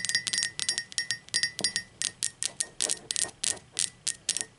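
Long pointed acrylic nails tap the sides of an upright, hollow blue speckled glazed ceramic mug, first in quick clusters and then in slower, evenly spaced clicks. Each tap is a bright, crisp click with a short glassy ring near 1.9 kHz that fades almost instantly, with very little low end.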